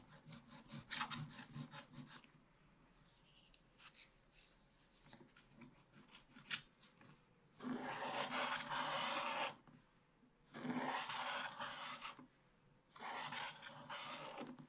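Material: Coated paper.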